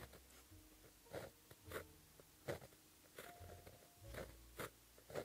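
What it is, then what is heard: Pen writing on a paper sheet. A white gel pen held in the fingertips writes Korean letters on a flat sheet of black lined paper. The pen tip makes quiet, dry scratching strokes in short bursts separated by brief pauses, with faint low rustling underneath.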